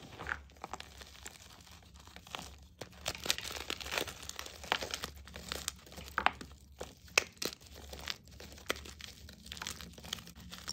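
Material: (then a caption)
Chalk. Bare hands press, crumble and grind solid chunks of green and plain white gym chalk in a bowl into powder. Dense, bright crunching and gritty crinkling come in irregular bursts of small sharp cracks over a faint steady low hum.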